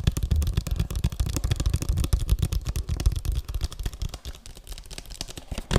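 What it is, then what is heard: Plastic video game case tapped with fingertips. A hollow plastic PS3 game case, held flat and tilted, is tapped quickly with fingertips and nails on its faces and edges. The result is a rapid stream of short, dull, low thumps mixed with lighter clicky ticks, each dying away almost instantly.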